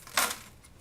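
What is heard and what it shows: A daffodil frozen in liquid nitrogen is knocked or dropped, giving a single bright, glassy clink centered around 1.4 kHz that rings out in a fraction of a second. The freezing has made the flower hard and brittle, so it sounds like glass.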